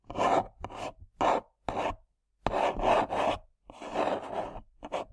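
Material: Cardboard.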